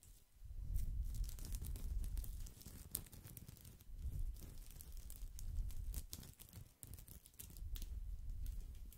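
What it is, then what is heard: Woven straw basket. Fingertips and nails scratch and rub the hollow woven surface of a round woven straw or wicker basket held close to the microphone. The result is a dense, irregular crackle of bright, dry scratches and quick taps over a deep, muffled rubbing rumble that swells and fades across the clip.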